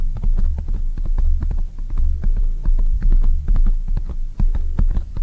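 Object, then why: Foam microphone windscreen. A soft black oval foam microphone windscreen is tapped quickly from both sides with long acrylic nails and fingertips. The result is a rapid, irregular stream of muffled, boomy low thumps with faint sharp clicks, heavy in the bass and with no ring after each tap.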